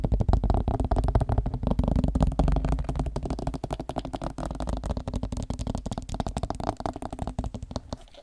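Plastic headphones are tapped with fast, irregular taps that run together into a dense, dull, low-heavy patter with little brightness. The tapping stays steady for most of the clip, then softens and fades toward the end.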